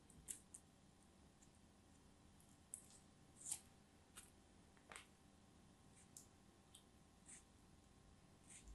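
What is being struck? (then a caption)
Kinetic sand block. A thin dark knife blade cuts and scrapes a small, solid green block of molded kinetic sand held in the hands, and the sand crumbles between fingers with long nails. Short, bright, crisp scratching and crunching sounds come in separate bursts over a quiet, low background hum.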